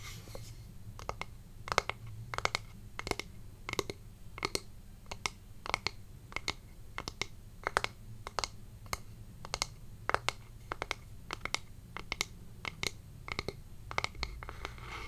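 A small hollow wooden heart-shaped box held in one hand is tapped and scratched with long fingernails across its surface and edges. Quick, dry, bright clicks and taps come in irregular clusters with almost no ring, over faint scratching and a steady low background hum.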